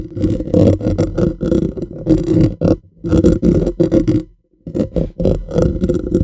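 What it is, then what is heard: Metal mesh microphone grille scratched and tapped. Painted fingernails of both hands scratch and tap the bare, hollow black metal mesh grille of a USB condenser microphone on a stand. Dense bursts of scratchy, rapid tapping come through with a boomy, low-heavy close-up tone and a hollow resonance around 316 Hz. The bursts break off in two brief silences before starting again.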